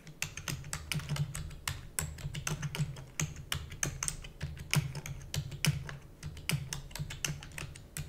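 Fingertips with long nails type rapidly on the keys of a black plastic computer keyboard. The clicks come as a quick, uneven stream of sharp, bright taps with short decays over a low hum.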